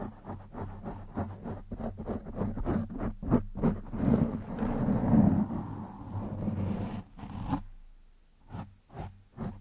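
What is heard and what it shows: Fingertips and short nails scratch the top and side of a black foam windscreen over a microphone. Quick, uneven bursts of close, muffled scratching with a low rumble swell into a denser, louder rub midway, then thin out into a few separate strokes.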